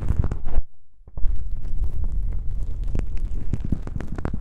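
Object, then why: Foam microphone windscreen. Fingertips press and rub two small black foam windscreen covers on a binaural microphone, then long nails scratch them. Heavy, muffled low thumps and rustling fill the first half-second, drop to a brief near-silence, then give way to dense, continuous scratching punctuated by sharp, boomy bursts.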